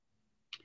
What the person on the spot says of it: it's clinging yeah sound like metal